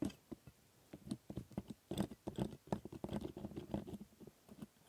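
A steel scaler scrapes the teeth of a plastic typodont dental model in rapid strokes. The result is a quiet, irregular run of short, dry scraping clicks centered low around 200 Hz, each ending almost instantly with no ring.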